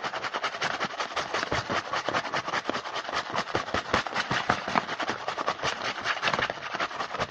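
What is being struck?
Small printed cardboard box.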